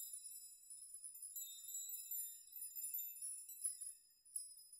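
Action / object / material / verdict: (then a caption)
shake / hanging metal nails / metal / none. A metal nail chime of hanging metal nails is rocked by fingers so the nails clink against each other. The sound is a quiet, continuous, irregular tinkling made up entirely of high, bright metallic ringing with no low end, with a few slightly louder clinks standing out near the end.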